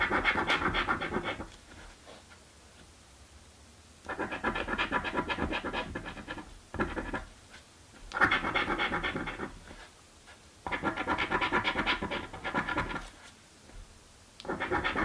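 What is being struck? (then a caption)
Paper scratch card and coin. A coin is scratched across the latex panels of a thin paper scratch lottery ticket while the other hand holds the card down. Bursts of dry, bright rasping come in strokes lasting a second or two, separated by short quiet pauses.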